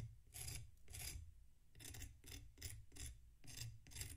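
A metal knife scrapes across the surface of a solid packed sand block resting on a plate. Repeated short, gritty rasping strokes carry a bright, hissy texture over a low rumble, with brief quiet gaps between them.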